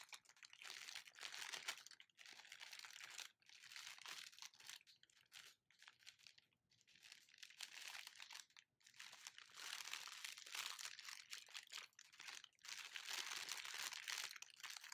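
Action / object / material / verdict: scrape / thin plastic packaging bag / plastic / none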